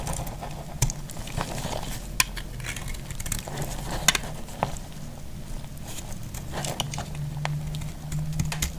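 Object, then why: Bar of soap cut with a metal blade. A small, dry, solid chunk of pink and green multicolor soap is held in the hand and cut with a metal utility blade. Crisp, bright scraping crackles and sharp little snaps come one after another, with no ring, over a steady low hum.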